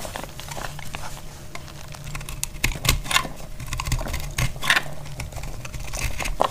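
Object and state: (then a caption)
Dry soap bar being cut. A solid, dry green-yellow soap bar is cut with a metal blade, and crumbly chunks crack off. Quick, irregular dry cracks and crisp scraping clicks come in bursts with bright, sharp edges, over a steady low hum.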